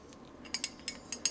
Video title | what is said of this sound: lets test a 3cx3000a7 | if I sit here and shake it you can hear the internal guts of this thing right on like a baby rattle